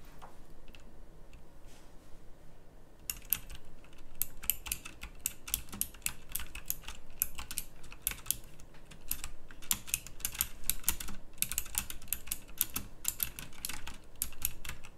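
Both hands type on a pink backlit, plastic mechanical typewriter-style keyboard with round plastic keycaps. After about three quiet seconds of low hum, a fast run of sharp, bright, clicky keystrokes begins and continues in uneven bursts to the end.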